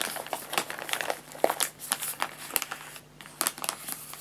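Fingertips and short nails rapidly tap and scratch a white paper bag of guinea pig food, filled with pellets and folded at the top, lying flat on a lap. The result is a quick run of dry, bright crinkles and papery scratches, with sharp short taps that die away almost at once.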